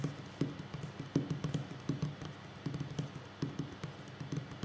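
Fingers tap on a wooden table in a slow, uneven run of soft, dull knocks. Each tap is short and woody, with most of its weight low in the range and almost no ring after it.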